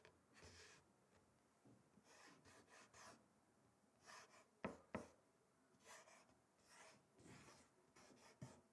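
Fingertips and short nails scratch and tap across the slatted surface of a large, flat, solid wooden bamboo-style chopping board lying on a table. Quiet, breathy scratching strokes come in short, irregular bursts with a bright hiss, broken by a few sharp, dry taps that stop almost at once.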